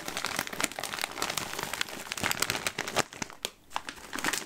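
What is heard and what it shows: A full green Smartfood plastic popcorn bag, closed with a purple clip, is crinkled and squeezed with the fingers. This produces dense, bright crackling and crinkling with sharp snaps and little low end, and a brief lull just past the three-and-a-half-second mark before the crinkling resumes.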